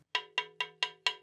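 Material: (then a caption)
Carbon fibre. A hammer taps five times near the steerer end of a carbon fibre road bike fork, where the material is thicker. Each tap gives a bright, dense, bell-like tick with a high pitch around 2.8 kHz that dies away within a fraction of a second. The result is normal for this thicker section of the fork.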